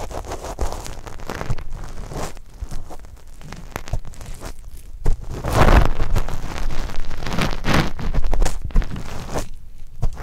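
The metal bodies of two pencil microphones press and rub against the fuzzy brown skin of a single solid, medium-sized whole kiwi fruit. Irregular dry rustling, scraping and crackling friction fill the clip, with a heavy low-end rumble of handling noise. The rubbing grows louder and denser in the middle before easing off toward the end.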